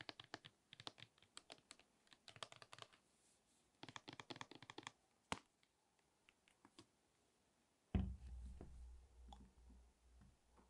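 A large, hollow plastic Nivea lotion bottle with a pump, which appears full, is tapped with long acrylic nails in quick bursts of clicky taps. Near the end comes a single deeper thump, followed by a soft low rumble that fades out.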